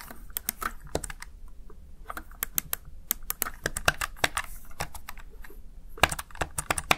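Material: Plastic.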